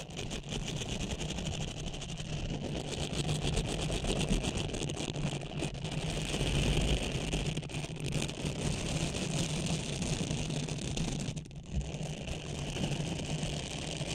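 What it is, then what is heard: Silicone cleansing pad being scratched. A small blue textured silicone facial cleansing pad is bent over a microphone head while long nails scratch it and fingertips rub across it. The result is a steady, dense stream of close scratching and rubbing with a heavy low rumble and a bright, hissy edge, easing briefly near the end before resuming.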